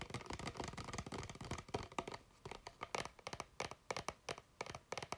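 An empty, clear plastic water bottle with a blue cap is held in both hands and tapped with fingertips and nails. The first two seconds are a dense run of quick, crinkly taps and scratches; the rest breaks into sparser, separate sharp clicks with bright, hollow plastic ticks and almost no ring.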